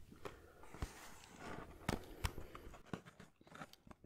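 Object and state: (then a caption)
Cardboard tea box. A small, hollow, rectangular printed cardboard Salus herbal tea box is held in one hand and tapped and scratched with fingertips and fingernails. Quiet, dull, low taps with very short decay come at an irregular pace over a soft, papery scratching texture.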